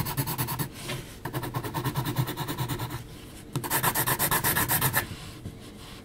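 An HB graphite pencil makes repeated short hatching strokes across a flat sheet of heavy, textured mixed media paper. Quick, rhythmic, raspy scratches come in three bursts separated by brief pauses, with a bright grainy texture over a soft, low rubbing body.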